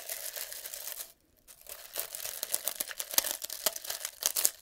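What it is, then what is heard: Glass jar of dried herbs. A small clear glass jar, partly full of dried green leaves or herbs, is held in the hands while fingertips and nails tap and scratch it and shake it so the dry contents rustle and crinkle. A steady bright crinkling rustle breaks off into a brief silence, then returns as a busier run of sharp, crisp clicks and crackles with almost no low end.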